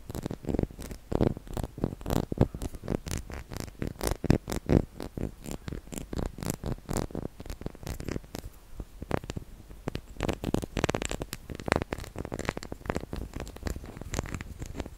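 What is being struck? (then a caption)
Small ridged wax candle. A small, solid white, ridged wax candle shaped like a shell is held in the palm and scratched with fingertips and nails. Quick, dry scratching strokes come in a steady stream of short bursts, each with a soft low body and a brief bright edge that stops almost at once.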